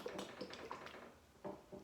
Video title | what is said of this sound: Foodie Phonics (Vowels & blends) - Overnight Oats | you're going to give it a shake you can listen to the liquid inside